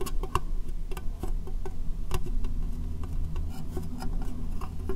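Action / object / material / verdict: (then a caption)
tap / clear plastic box / plastic / none. An empty, hollow, rectangular clear plastic case held over the microphone is tapped with long dark-painted nails. Quick, sharp clicking taps with short, bright edges sound over a steady low hum.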